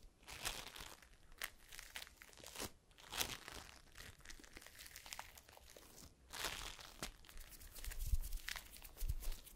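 A palm-sized mass of yellow floam (foam beads in slime) is squeezed and pressed between both hands with fingers and long pink nails. It gives dense, crunchy crackling and crinkling in quick bursts of bright, broadband crackles over a low, quiet rumble.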